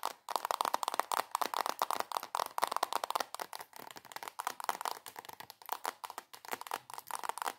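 Long acrylic nails tap and scratch fast on a soft plastic squeeze tube of body cream. The result is a steady stream of quick, crisp clicks and crinkly scrapes with a hollow plastic tone centered near 1 kHz. Each sound dies away almost instantly, and there is no low end.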